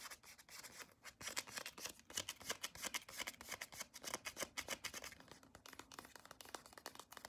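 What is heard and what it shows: A small white CeraVe cream tube of soft plastic, held in both hands, is tapped and scratched along its length with long acrylic nails. Quick, uneven crisp clicks and scratchy rubs come in a dense, irregular stream, bright and high with almost no low end, each one dying away almost at once.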